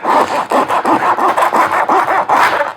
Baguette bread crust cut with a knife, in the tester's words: You can hear how crispy it is.